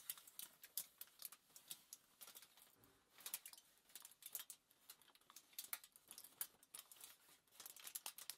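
Long nails tap rapidly and scratch across a crumpled sheet of thin aluminium foil lying flat on a table. The result is quiet, bright, crackly ticks and crinkles in quick, irregular bursts, with almost no low end.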